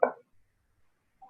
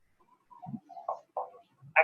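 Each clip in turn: First: resonant lung note on chest percussion. Second: tympanic percussion note over the stomach.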